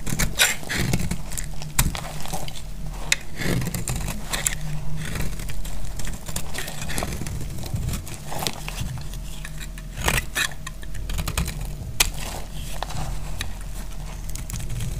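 A snap-off metal blade held in the hand cuts through a solid, dried red and white striped soap bar. Dry crackles and sharp scraping clicks are heard over a steady low rumble.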